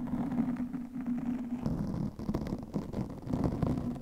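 Long fingernails scratch over the top and sides of a soft, porous black foam microphone windscreen. The result is a continuous, muffled, low-pitched scratching and rustling with a steady hum underneath, swelling in uneven bursts with little high-end brightness.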